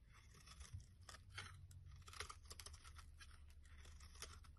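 A solid oval green bar of soap held in the hand has long curls shaved from its end with a blade. Repeated soft, crisp scraping and crunching strokes sound over a low, steady hum, with no ringing after each stroke.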